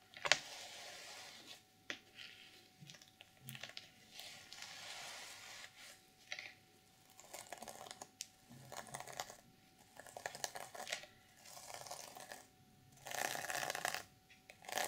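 Long purple nails tap and scratch the plastic sequins on the reversible sequin fabric cover of a small, closed black journal resting on a pink table. Bright, crisp clicks and dry scratchy rustles come in short bursts separated by quiet gaps. A louder, sustained stretch of scratching comes near the end.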